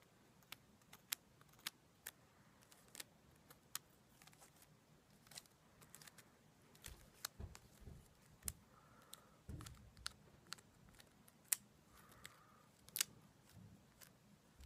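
Long black nails scratch and rub a solid, hand-sized bundle of dried white sage leaves tied with white string. About twenty sharp, dry, crackly clicks and brittle rustles ring out quietly and brightly, with a few soft low thumps in between.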